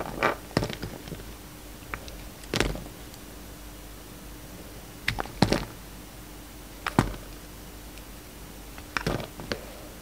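A box-cutter blade shaves along the edges of a solid blue and white bar of soap, making short, crisp scraping and cutting strokes. The strokes come in irregular clusters with quiet pauses between them, over a faint steady hum.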